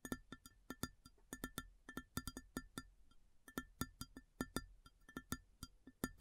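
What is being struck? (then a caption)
Ceramic plate. Long fingernails tap an empty, large, round white ceramic plate in a quick, uneven rhythm of about thirty separate taps. Each tap is a short, bright click with a faint tone near 1.4 and 1.8 kHz and a low body around 260 Hz. Each one dies away almost at once, leaving quiet gaps between taps.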